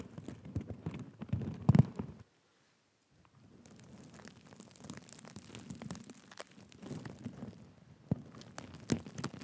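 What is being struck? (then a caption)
Sequin-covered fabric cushion. A black and gold sequin cushion held in both hands is scratched with fingertips and nails, giving a dense, low, crinkly rustle of sequins with sharp clicks. The scratching drops to silence for about a second after the first two seconds, then resumes more softly before building again with a few louder scrapes near the end.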